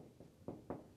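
Two knocks on a stud-framed wall, on the side of the house with the vaulted ceiling, each giving a low, hollow thud that dies out quickly. The wall is framed with 2x6 studs and filled with yellow fiberglass insulation, and its hollow sound is normal.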